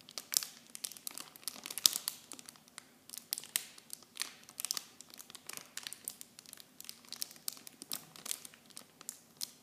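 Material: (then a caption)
Plastic film. Clear plastic blister and bag packaging around small blue Nivea shampoo bottles, hollow and light, is held in both hands and squeezed and crinkled with fingertips and long blue-painted nails. The result is a steady run of quiet, bright crinkling and crackling with irregular sharp snaps and almost no low end.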